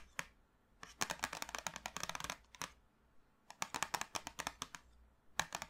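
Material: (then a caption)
Cardboard. Long manicured nails tap and drum on the top of a small, flat, printed cardboard box full of 24 sticks of colored chalk lying on a dark table. Quick, dry, bright clicking taps come in rapid bursts separated by short pauses, each tap dying out almost instantly.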